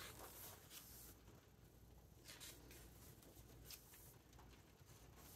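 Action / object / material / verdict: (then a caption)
scrape / paper hardcover book / paper / none. Fingertips stroke and turn the glossy paper pages of a large open hardcover book. Quiet, bright papery swishes and rustles come in short bursts over a steady low background rumble.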